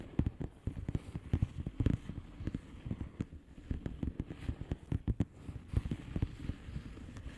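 Long painted nails of both hands tap rapidly across a flat blue plastic bubble wrap envelope with air-filled bubbles. The result is an irregular stream of short, dull, low thumps with faint crisp clicks, each one stopping at once with no ring.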